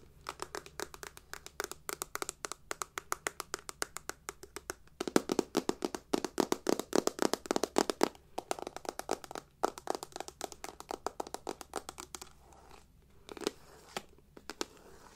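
Long nails tap and scratch a hollow, rectangular, hard silver metal clutch purse with a crackled reflective surface and a chain strap. Dense runs of quick, dry clicks and taps have almost no ring, with a brief louder, faster flurry around the middle and sparser taps toward the end.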